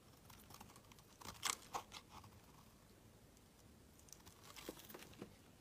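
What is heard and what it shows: A metal utility knife blade carves a solid, palm-sized green bar of soap held in the hand, shaving off long strips. The scraping comes as quick, dry, crisp crackles with a bright edge, clustered in two short runs with a quiet pause between them. Each stroke stops abruptly, leaving no ring.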